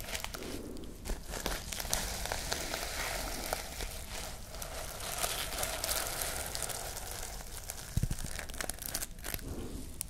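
Long nails scratch and brush across the sequins of a sequin fabric pouch held up in the air, making a steady crinkling, scratchy rustle with bright, sizzling high-end texture. Sharp little clicks and ticks pop out of the brushing throughout, with a louder tap near the eight-second mark.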